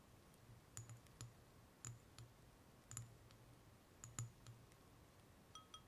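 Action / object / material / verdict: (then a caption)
tap / gel water beads in a glass bowl / gel, glass / none. Fingertips with long nails stir and press into a shallow layer of small, colorful gel water beads (Orbeez) in a clear glass bowl. Short, bright clicks and faint glassy clinks come in scattered bursts and die away almost instantly, over a quiet, steady low hum.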